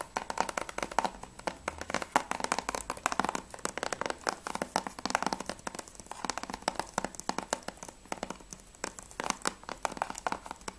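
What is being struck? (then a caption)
Hard plastic game case with clear sleeve. Fingertips tap rapidly on the front cover of a closed PS3 game case for Spec Ops: The Line, made of hard plastic with a clear sleeve and held in both hands. The result is a steady stream of quick, dry, clicky taps centered in the midrange around 900 Hz, with a faint crinkly edge and no ring after each tap.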